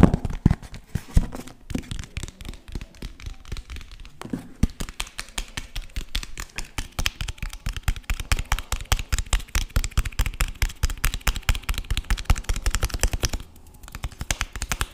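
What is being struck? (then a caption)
Cloth-covered hardcover book. Fingertips tap rapidly on the cover and spine of a green, cloth-covered hardcover book held upright. The taps are quick, dull, low thuds with very short decay, coming in a fast, uneven patter. There is a brief quieter stretch near the end before the tapping resumes.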